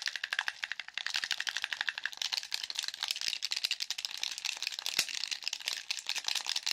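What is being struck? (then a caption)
Plastic game controller. A black plastic handheld game controller, a hollow shell with buttons and sticks, is held in the hands and tapped while its buttons are clicked rapidly by fingertips and nails. A fast, steady stream of sharp, dry, high clicks and taps with almost no low end, each click dying away almost instantly.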